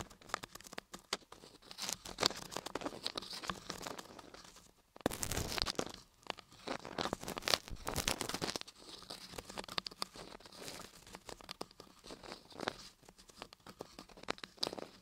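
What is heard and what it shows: Two thin dark plastic sticks, one in each hand, tap and scratch inside the ear canals of solid white laundry-soap ear models set on a soap block. The result is a dense stream of dry, crisp scratching and crinkly tapping, bright and short with no ring. A louder, busier burst comes in the middle before it settles back to steady quieter scraping.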